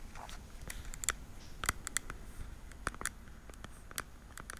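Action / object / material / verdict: tap / small plastic weekly pill case tapped with fingernails / plastic / none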